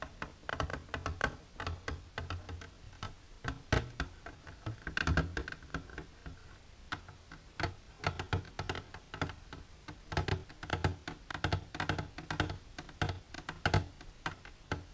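Long silver nails tap rapidly and irregularly on the wall of an empty, clear plastic container standing upright. The result is a steady run of short, dry clicks and ticks with almost no ring, over a low, rumbling undertone.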